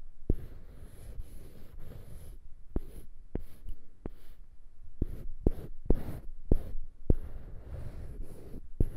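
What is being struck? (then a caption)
Small wooden cube on a wooden handle. Fingertips and nails scratch and rub a small, solid light-wood cube fixed on the end of a polished dark-wood handle, held in one hand above foam-covered microphones. A soft, low, dull scraping runs throughout, broken by about ten sharp, short taps at irregular intervals, with no ring after each one.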